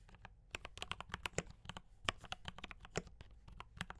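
A mechanical keyboard with cream and red plastic keycaps and brown switches is typed on quickly with the fingertips. It produces a steady stream of short, sharp clacks with bright, clicky tops and a soft low thud beneath. Each keystroke ends almost instantly.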